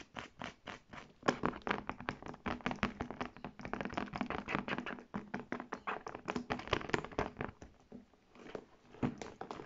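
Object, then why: Faux leather tote bag. Long nails rapidly tap and scratch the smooth panels and buckled straps of a large, hollow brown faux leather tote bag with metal buckles. Quick dry taps and soft hollow thunks blend with scratchy rubbing, and each tap dies away almost at once.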